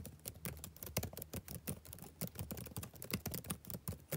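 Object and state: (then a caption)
Laptop keyboard typing. Fingertips type on the black plastic keys of a backlit laptop keyboard, producing a steady, uneven run of about two dozen soft, quick keystrokes. Each press is a short, dull tap with a low thump and a bright click on top that dies away almost instantly.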